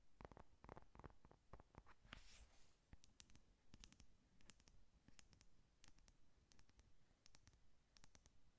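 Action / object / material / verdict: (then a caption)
tap / cardboard-covered eyeshadow palette / cardboard / none. Long nails tap and scratch on the closed cardboard cover of a flat pink "Honey Lust" eyeshadow palette. Quiet, dry clicks with bright, crisp edges come in uneven bursts over a low, soft rumble. Around two seconds in there is a brief hissy scratch.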